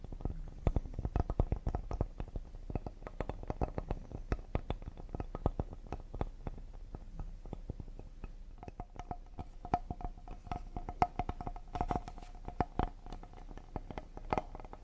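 Fingertips tap quickly and lightly on the face and edge of a solid cedar wood serving board. The result is a rapid stream of dull, short, low-heavy knocks. In the second half, a faint steady ringing tone sits beneath the taps.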